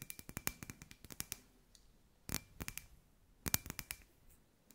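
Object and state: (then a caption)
Glass ball lamp tapped with nails. Long white nails tap a hand-sized hollow clear glass sphere lamp with fairy lights inside, about 22 times. The sharp, bright clicks come in quick flurries separated by short pauses. Each tap dies away almost at once, leaving a faint glassy ring.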